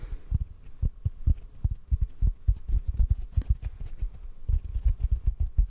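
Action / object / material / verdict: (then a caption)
tap / synthetic foam sponge block / foam / none. A large, yellow, porous synthetic foam sponge block, soft and solid, is held in both hands near the microphone and softly tapped with the fingertips. The result is a steady run of deep, muffled thumps with almost no high end. Each tap dies away almost instantly, giving a soft, throbbing pulse.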